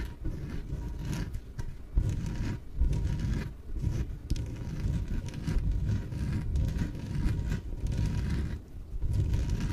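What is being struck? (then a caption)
Inflated PVC exercise ball. Long nails tap and scratch the top and sides of a small, yellow, hollow, air-filled inflatable PVC exercise ball. The result is a steady, muffled scraping and rustling with dull, low thumps, heavy in the low end. It pauses briefly a few times throughout.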